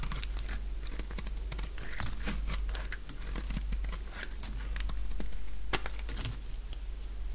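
A utility knife blade carves a purple dry bar soap, peeling curls and brittle strips from its surface. Dense, irregular crisp crunches and crackles follow one after another, with sharp bright snaps over a steady low hum.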